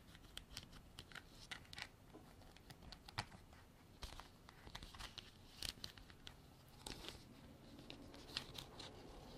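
Long black artificial nails tap and scratch a hand-sized, white, frosted, textured hard plastic container that is hollow and appears empty. Quick, bright clicking taps with very short ring mix with soft, crinkly scratching over a low rumble. The taps come in irregular bursts throughout.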